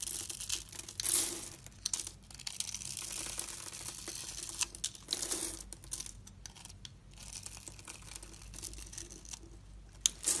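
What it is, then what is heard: Bar soap being scraped. A utility knife blade scrapes small cubes off a solid blue and white striped bar soap held in the hand. The sound is a bright, dry crinkling scrape made of rapid tiny crunches, with louder bursts near the start, middle and end.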